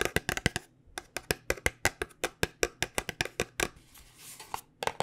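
Long, dark-painted nails tap on a small white paperboard cosmetic box as it is rotated. About two dozen short, dry, bright clicks come in quick bursts, with a brief soft rustle near the end before a final few taps.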